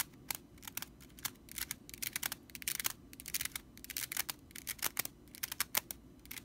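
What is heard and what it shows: Long nails scratch quickly across the bristles of a stitched straw whisk broom. The result is a rapid series of short, dry, bright rattling scrapes that start and stop sharply, with almost no low end and quiet gaps between the bursts.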